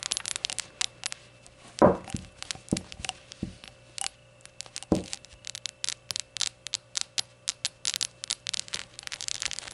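Long nails tap and scratch the glossy glaze of a small, hollow, rainbow-colored ceramic shot glass as it is held and tilted. A quick run of bright, dry clicks and scrapes is heard, with a few heavier knocks and a faint steady tone underneath. Each tap dies away almost at once.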